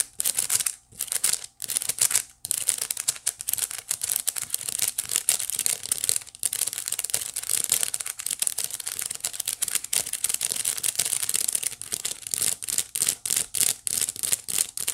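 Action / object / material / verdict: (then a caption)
scrape / woven wicker basket / wicker / none. Long nails on both hands scratch the flat woven face of a small hollow white wicker basket. The result is a dense run of dry, bright, crinkly scratches in quick bursts with brief pauses, almost entirely high-pitched with little low end.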